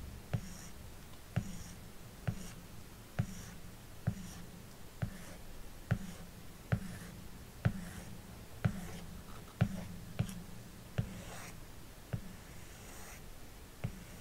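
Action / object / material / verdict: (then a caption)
tap / glass tablet screen tapped with a plastic stylus tip / glass / none. The plastic tip of an Apple Pencil makes quick, repeated strokes and taps on the glass touchscreen of a large 12.9-inch iPad Pro lying flat, painting sun rays. Fifteen short, dry taps land at a fairly steady pace, each with a dull low knock around 120 Hz that dies almost at once. Faint scratchy strokes and soft hiss fill the gaps between them.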